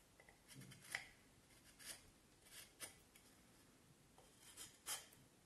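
A knife blade shaves and scrapes the rounded end of a solid vine wood stick held in the hand. Quiet, bright, dry scraping strokes come in short bursts with pauses between them and little low end.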